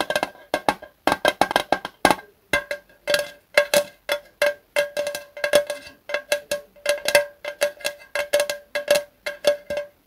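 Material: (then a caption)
Thin metal. A small, hollow, thin-metal Zippo lighter fluid can with a red plastic spout cap, held in both hands, is tapped rapidly with the fingertips. Quick, irregular bursts of short, dry taps each carry a faint hollow metallic ping in the mid range with a bright edge. The sound dies away almost instantly between taps.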